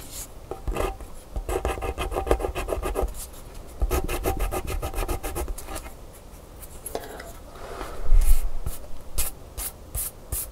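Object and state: Scratch-art paper card being scratched.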